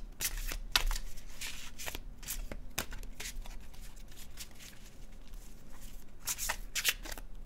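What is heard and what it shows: A blue-edged glossy cardstock oracle deck is shuffled in the hands with the fingertips, the cards rubbing and flicking against each other. Bright, crisp snaps and papery swishes come in bursts over a steady soft rustle, with a few sharper flicks near the start and end.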